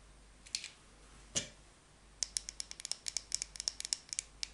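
A small, dry, solid rectangular bar of cream soap is held in the hand while long painted nails tap it. A metal utility knife blade then scrapes and shaves it in a quick run of crisp, bright, clicking cuts. Each cut stops short with almost no ring, over a quiet background.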